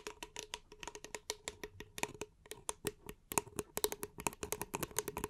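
A small, empty, hollow paper cup is held upside down in both hands and tapped and scratched with long painted nails. The result is a quick, uneven run of dry, bright clicks with a faint hollow ring around 930 Hz. Between the taps there are soft scratchy brushes, and each tap dies away almost instantly.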